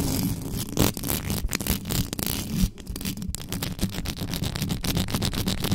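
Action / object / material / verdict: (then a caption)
scrape / metal mesh microphone grille / metal mesh / none. Long pointed acrylic nails scratch fast across the top and sides of a black microphone's bare metal mesh grille with a hollow capsule housing. The result is a dense, continuous rasp of rapid scratches and taps, with a heavy low, boomy rumble underneath and a thin, bright hiss on top.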